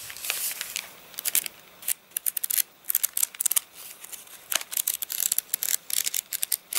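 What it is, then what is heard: Stiff rain-dried paper pages. A rain-dried paper catalogue is riffled and flicked through with fingers, its thick stack of wavy, stiff page edges giving off a rapid run of sharp, dry, bright crackles and snaps. Dense bursts of crinkling alternate with brief quieter gaps, with no low end and almost no ring after each flick.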